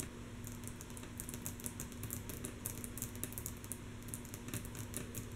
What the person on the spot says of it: Rhythmic Tapping on Wood Table With Long, Natural Nails - Mostly Soft Tapping